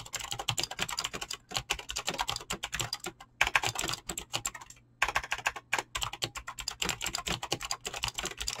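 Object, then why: Mechanical keyboard with clicky switches and plastic keycaps. A full-size mechanical keyboard with clicky Razer green switches and dyed PBT plastic keycaps, resting on a desk, is typed on fast with fingertips and short nails. It gives continuous sharp, bright clicking key presses with very short decay, broken by a few brief pauses, including a longer gap around the five-second mark.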